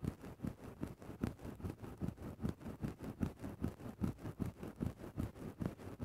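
A thin bamboo stick scratches and pokes into a grey synthetic-fur microphone windscreen, making soft, muffled, low rustling strokes. About 18 short, closely spaced bursts repeat in a loose, steady rhythm. The sound is quiet and dull with almost no bright content.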